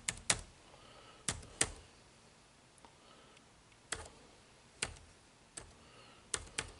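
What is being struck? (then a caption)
Plastic laptop keyboard keys. Fingertips type on the dark plastic keys of an HP laptop's plastic keyboard, giving about ten sharp, bright clicks spaced irregularly over a quiet background. Each click is short and dry with almost no ring, some coming in quick pairs.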